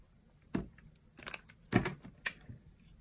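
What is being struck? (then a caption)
Bar of soap cut with a small blade. A solid, dry, pale yellow bar of soap held in the palm is sliced and carved with a small blade. Six short, crunchy cuts each land as a dull low thump with a bright, crackling edge that dies away almost at once. Quiet pauses separate the cuts.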